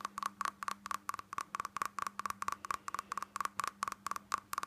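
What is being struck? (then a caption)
Small glass tumbler with glitter coating. A small hollow glass tumbler with a red glitter coating, held in the hands, is tapped and scratched with long natural fingernails on its sides and base. About 21 quick, dry clicks sound in an uneven fast rhythm, each with a short ring centered near 1.1 kHz and bright scratchy edges. A faint steady low hum sits underneath.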